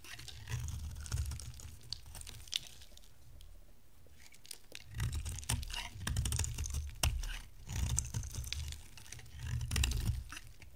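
An oval, solid orange bar of dry soap is held in the hand and shaved into strands with a box-cutter blade. The shaving produces a steady run of dry, crackly scraping and crunching, with low rumbling surges and bright, sharp snaps as pieces break away.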